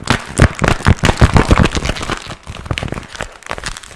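Fingers crinkle and squeeze a small, empty, glossy pink patent vinyl zip pouch held up close. The result is a rapid, irregular run of crackling crinkles and soft crunches with a heavy, low, thumpy body, loudest in the first two seconds and then quieter and sparser.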